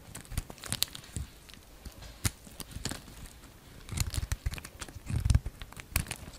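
A solid green and white bar of soap, held in the palm, is carved and shaved with a utility knife, so crumbly flakes fall away. Crisp scraping and crunchy crackles come in quick, dry bursts, with bright edges over a soft low thud. The busiest, heaviest cutting comes near the end.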